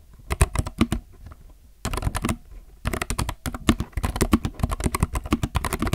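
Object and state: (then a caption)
Plastic mechanical keyboard. Both hands type with their fingertips on a compact mechanical keyboard with plastic keycaps. Quick bursts of short, dry, low clacks come with brief pauses between them. Each keystroke cuts off almost at once.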